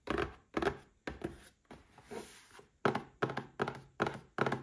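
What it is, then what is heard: Cardboard gift box. A small red cardboard gift box for a Paladone Mario Kart glass stands upright and is tapped with fingertips and short nails. It gives a series of short, hollow, dull thunks with quick decay, spaced at an uneven pace, with one softer, brushing tap in the middle.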